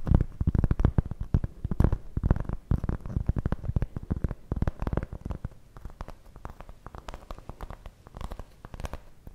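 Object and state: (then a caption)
Cork coaster. Long nails tap and scratch a large, round, solid cork coaster held in front of the face. The result is a fast, irregular stream of dull, low, dry taps mixed with scratchy bursts, louder in the first half and then softer toward the end.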